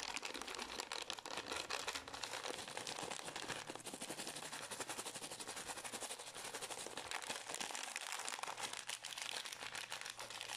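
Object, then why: Small plastic pouch. A small green and white Pür gum plastic pouch is scratched with long nails and crinkled in the hands. It makes a dense, steady crackle of bright crinkling and scraping at an even level, with almost no low end.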